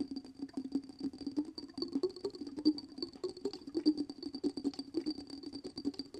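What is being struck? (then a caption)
Small glass jar filled with glittery water. Fingertips and nails tap and scratch the top and sides of a small, clear glass jar with a dark lid, filled with glittery water and held in one hand. The result is a rapid, irregular patter of short, light clicks with a soft glassy ring around 300 Hz. A faint, steady high tone and bright scratchy ticks sit above it.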